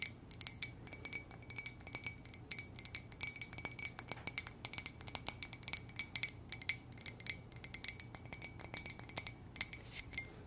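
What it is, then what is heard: Ceramic coffee mug. Long nails tap rapidly and gently on an empty, hollow white ceramic coffee mug printed with "muah!" and lips. The result is a steady stream of quiet, bright clicks with a faint ringing tone near 2 kHz, each tap dying away almost instantly. A low, steady hum sits underneath.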